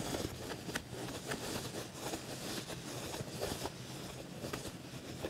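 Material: Leather.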